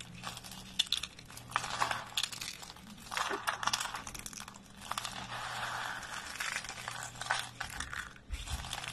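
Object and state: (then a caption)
Dry soap flakes being crushed. A heap of pale green dry soap flakes is scooped, squeezed and crumbled by both hands. Dense, bright, crisp crunching and crinkling comes in bursts with short dry snaps, over a faint steady low hum.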